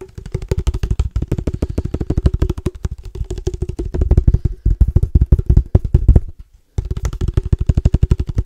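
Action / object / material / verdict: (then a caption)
tap / plastic padel ball case / plastic / none. A padel ball case is tapped rapidly with the fingertips, producing a fast, steady stream of dull, low thuds with almost no ring. The tapping pauses briefly near the 6.5-second mark, then resumes at the same quick pace.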